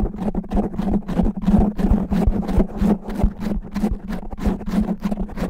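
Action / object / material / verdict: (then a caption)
scrape / foam microphone windscreen / foam / none. Fast, aggressive scratching with natural nails from both hands on a black foam microphone windscreen produces a dense, rough scraping texture. Irregular rapid strokes carry a low, steady hum with little high end.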